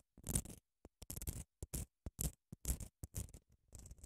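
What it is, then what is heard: Padded emery nail file being scratched. Long acrylic nails scratch along the surface of a long grey padded emery grit nail file held in both hands. The result is a quick, irregular run of short, dry rasping bursts with a bright hiss on top and a soft low body, separated by brief silences.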